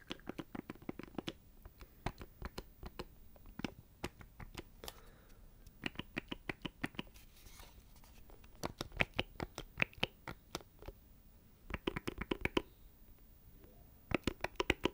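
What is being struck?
Small plastic electronic box with knobs.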